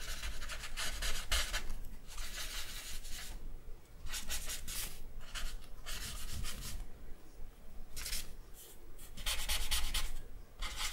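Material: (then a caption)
Charcoal, paper. A thick charcoal stick is rubbed and scratched over the face area of a drawing on a white sheet of drawing paper. Repeated dry, hissy bursts of bright scratching strokes come and go with short pauses between them, over a steady low rumble.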